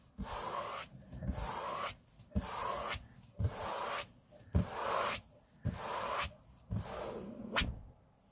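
Fingertips of both hands rub across a large, flat, solid grey laminate tabletop in repeated broad, hissy strokes, each swell of friction noise separated by short pauses. Soft low thumps mark the starts of several strokes, and the clip ends on a brief sharp tap.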